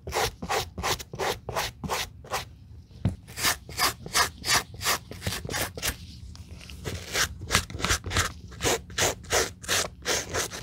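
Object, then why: Suede leather sneaker brushed with a bristle brush. A white bristle suede brush in a black-gloved hand scrubs back and forth across the nap of a hollow taupe suede sneaker with a cream rubber sole, working at the toe, the heel tab and the back heel. About thirty quick, bright, rasping strokes come in a steady rhythm, with short pauses near the third and sixth seconds and a low rumble underneath.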